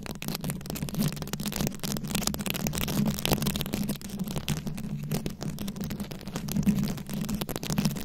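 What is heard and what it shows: A fist-sized round microphone head covered in plastic rhinestones and beads is scratched and tapped with very long acrylic nails. Dense, rapid scratching and clicking crackles bright across the highs over a steady low hum near 200 Hz, with no speech.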